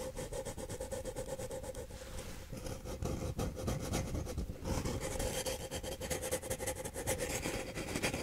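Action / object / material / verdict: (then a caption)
scrape / empty paper cup / paper / none. Fingernails of both hands scratch the side of a single empty paper cup held upside down near the face. The result is a continuous, rapid run of dry rasping strokes with a hollow tone near 520 Hz and a bright, airy edge, growing slightly louder and busier toward the end.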